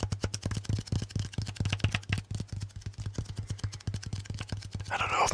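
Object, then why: Paper lint roller with sticky surface. Fingertips rapidly tap the sticky surface of a handheld lint roller held close to the mic: a white sticky paper roll on a grey plastic handle with a hollow roll core. The result is a quick, steady series of short, dull, low thumps with faint tacky clicks over a low hum, ending in a brief, brighter sticky crackle.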